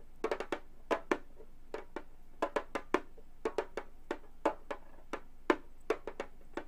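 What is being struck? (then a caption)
Frame drum with synthetic head. Gold metal claw tips tap on the synthetic head of a hollow frame drum, making 23 short, dry taps in uneven clusters. Each tap is a quick knock with a midrange body near 355 Hz and a brief bright edge that dies away almost at once.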